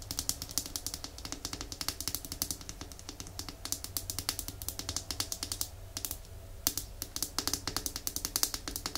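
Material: Glass.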